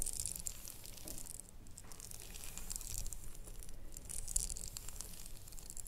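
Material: Glass.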